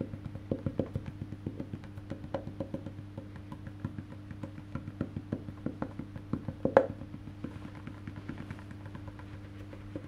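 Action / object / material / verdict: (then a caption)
tap / wooden electric bass guitar body / wood / none. Fingertips tap the solid, black-painted wooden back of a face-down electric bass guitar, right beside its metal neck plate. A steady stream of short, dry, woody taps runs over a constant low hum, and one sharper, louder tap stands out near the end.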